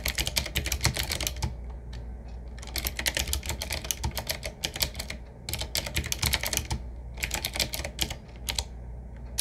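Fingertips of both hands type on a 7Keys typewriter-style mechanical keyboard, a medium-size board with round black keycaps set in metal rings on a wood-finish frame with a hollow case. Bursts of rapid, bright, clicky keystrokes with sharp, quickly fading attacks alternate with short pauses over a steady low hum.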